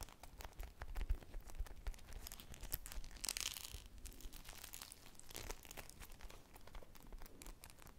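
Long painted nails scratch and squish a small teal and white polyurethane foam ice cream squishy with two sticks, made of solid soft foam. The result is a quiet, steady run of dense, crackly scratching and crinkling over a low rumble, with a brighter, hissier swell a little past the midpoint.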